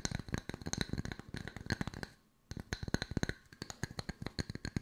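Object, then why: Wooden log slice coasters. Two solid round wooden log-slice coasters with bark rims are tapped and scratched with long nails. The result is a fast run of short, dry, woody clicks with almost no ring. The taps pause briefly near the middle, then resume.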